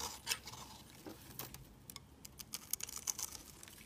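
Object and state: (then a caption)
Bar soap being shaved with a blade. A mint-green Protex bar soap, solid and hand-sized, is shaved into crumbly flakes with a metal utility blade. About a dozen quick, bright scraping and crackling strokes come at an uneven pace, each dry and short with almost no ring. They stand over a quiet, hissy background.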